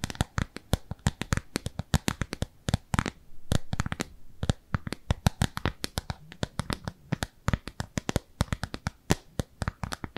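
Long nails rapidly tap and scratch the surface of a thin, translucent, frosted plastic round lid held in both hands. The result is a dense, irregular stream of sharp, dry clicks that stop instantly, with brief stretches of softer scratching in between.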